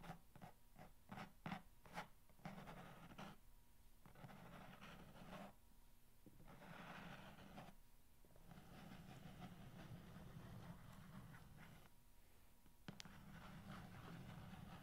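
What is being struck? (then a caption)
Corrugated cardboard box. Fingernails slowly scratch along the top surface of a long, hollow corrugated cardboard box. A few sharp taps and clicks at the start give way to long, soft, rasping strokes over a steady low hum. The sound is quiet throughout.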